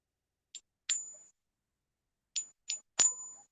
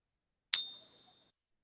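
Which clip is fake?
The first.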